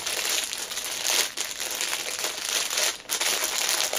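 Long painted nails and fingertips press, crinkle and tap the clear cellophane wrapper of a small black fabric pouch lying on a fleece cushion. A continuous bright, crackling crinkle fills the clip, with brief quieter dips near 1.4 and 3 seconds.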